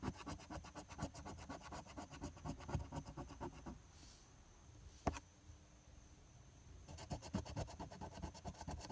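A coin held in the fingertips scrapes the latex coating off the Game 1 and Game 2 areas of a flat paper lottery scratch-off ticket (#026). Quick, rough, gritty scraping strokes run for about four seconds, pause into near quiet with one sharp tick, then resume for the last two seconds.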